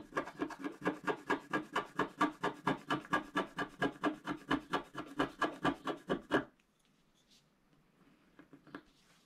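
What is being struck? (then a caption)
Coated scratch-art card scraped with a wooden stylus. A wooden stylus scrapes back and forth across a large gold area of a flat black-coated scratch-art card, making about 31 rhythmic, even rasping strokes over six and a half seconds. The scraping then stops, leaving near silence with a few faint, soft scratches toward the end.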